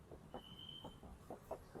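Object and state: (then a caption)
Solid-sounding sound-deadened car door panel. Knocks on the steel door panel of a Honda BR-V fitted with sound-deadening mat give short, dull, dense thuds with almost no ring. A faint steady high tone runs in the background. The deadened panel sounds solid and dense, as intended.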